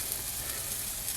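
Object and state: Nothing is struck.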